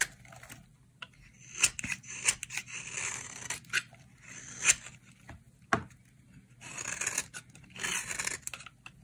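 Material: Soap.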